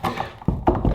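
Knuckles knock four times on a solid core wooden door fitted to contain fire in a furnace room, producing dull, low thunks with very little ring. The deep, short knocks confirm that the door is solid.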